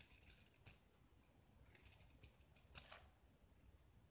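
A metal utility-knife blade scrapes and carves the white interior of a small, solid gypsum block with a red painted grid coating, held in one hand, into curled shavings. The sound is a quiet, bright, dry scraping and crumbling, with a few sharper, louder scratches standing out.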